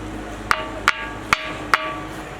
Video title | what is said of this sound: KHANDERI FORT - Unknown India | You can hear the noise. It sounds like metal.